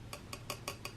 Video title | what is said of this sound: Ho to use Casting Resin in Silicone Molds, Begginers | I think it is ready actually they all sounds like plastic now